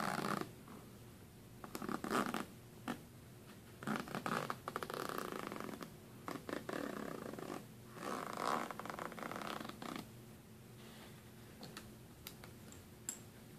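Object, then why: Metal zipper on a fabric suitcase. Fingers with nails drag the metal zipper pull along the side and top seam of a hollow black fabric suitcase. The result is a series of fast, raspy zipping slides in uneven bursts with quiet pauses between them.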